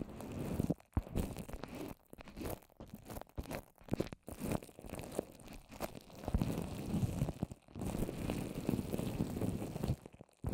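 Long orange nails tap and scratch the wet surface of a microphone wrapped in plastic and covered with wet white papier-mâché paper strips, formed into a small rounded hollow shape held in one hand. Dense, muffled crunching and crinkling taps and scrapes come close together, heavy in the low end with little brightness. Each sound dies away almost instantly, with brief quiet gaps between bursts.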